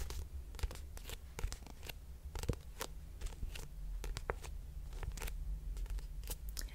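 A hand-sized black paperback poetry book, Pillow Thoughts, a solid stack of paper with a thin card cover, is held closed while long nails tap and scratch across the cover. Many quick, dry, bright clicks and brief scratchy strokes come in irregular bursts. A steady low hum runs underneath throughout.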